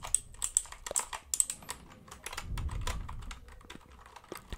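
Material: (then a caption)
Plastic. Fingertips tap and scratch quickly across the plastic keycaps of a white mechanical computer keyboard tilted toward the mic. Sharp, bright clicks come in an irregular, fast patter, mixed with a low, rumbling scrape that swells in the middle and then fades.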